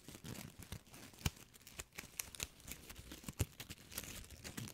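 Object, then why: Foil-plastic ribbon gift bow. A small, shiny gold foil-plastic ribbon gift bow, held in fingertips with long nails, is squeezed and crinkled close to the microphone. The result is a dense, uneven stream of bright, crisp crackles and rustles with short, dry snaps, the sharpest at about 1.3 and 3.4 seconds.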